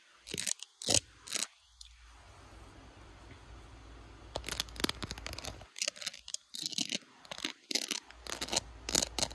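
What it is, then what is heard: Smartphone in plastic case, nail tapping. A handheld smartphone in a clear glitter plastic case is fast-tapped on the case back and camera area by long blue acrylic nails. Quick, bright clicks come in bursts with very little ring, and a quieter stretch in the middle comes across as a soft scratching hiss.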